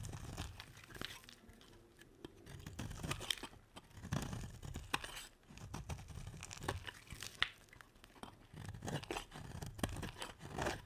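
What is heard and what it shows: A solid round red striped soap bar is scraped with a metal utility blade, with shavings piling up. Dry, crunchy scrapes and short tearing cuts repeat throughout, each pairing a low, muffled thud with a bright, crisp edge.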